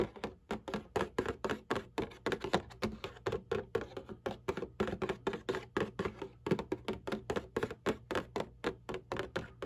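Long nails tap and scratch the printed bottom panel of a cardboard Kleenex tissue box resting on a black table. About 45 quick, dry taps sound in a steady, even rhythm, each with a short papery knock and a light scratchy edge that dies away almost at once.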